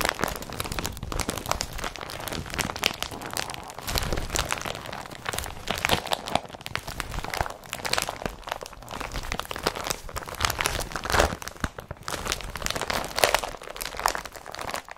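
An empty blue woven polypropylene IKEA BRATTBY carrier bag is scrunched and crumpled at its folds by fingertips and nails. The result is a continuous, dense crinkling and crunching across the full 15 seconds, with bright, crisp rustles and frequent louder crackling bursts.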